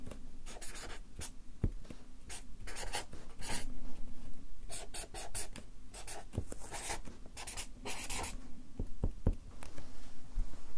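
A Sharpie marker writes capital letters in quick strokes on a stack of white paper on a clipboard. The felt tip makes bursts of dry, bright scratching, with short pauses and occasional soft low taps between strokes.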